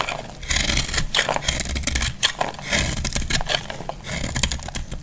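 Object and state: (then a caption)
Dry bar soap being scraped with a blade. A metal utility blade scrapes and cuts a solid, palm-sized bar of dry yellow soap held in the hand, shaving off curls and flakes that fall away. The sound is a dense run of crisp, bright scraping and crackling strokes, with a low rumble underneath.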